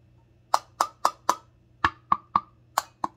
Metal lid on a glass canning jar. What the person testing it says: Very dull sound, and the lid is popped up.